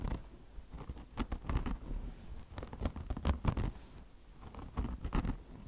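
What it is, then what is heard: Mesh-topped foam car wash sponge, scratched. Long blue nails on both hands scratch a beige mesh fabric chenille car wash sponge with a polyester mesh top over foam. The result is a series of soft, dull, rustling scratch bursts that swell and fade, weighted heavily toward low tones with almost no bright edge.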